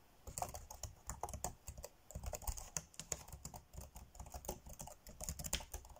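Fingertips tap rapidly on the dark grey plastic chiclet keys of a laptop keyboard, typing fast. A dense stream of short, dry clicks arrives in quick bursts, each with a soft low thump beneath a bright plastic tick that dies away almost instantly.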